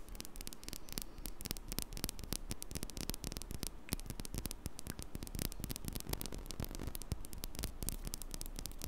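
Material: Metal mesh.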